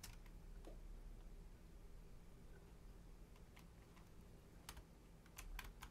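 Both hands tap rapidly on a black plastic Logitech full-size keyboard with a hollow shell and membrane keys, using long painted nails and fingertips. Sharp, bright clicks and clacks are scattered over a steady low hum, growing denser near the end.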